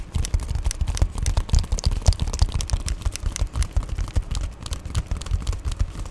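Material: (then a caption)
Plastic. Fingernails scratch and tap on the crinkled plastic of an Amazon Prime padded poly bubble mailer, held close. Rapid, irregular taps and scratching run throughout, with dull low thumps under short, bright crinkly crackles that stop almost instantly.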